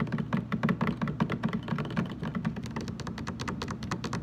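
Fingertips and short nails of both hands tap quickly and unevenly on the sides of a large, hollow, blue translucent plastic jug standing upright on a table, its contents not clearly visible. The taps come as a dense, irregular patter of soft, hollow, low thunks with light clicky edges. Each one dies away almost instantly.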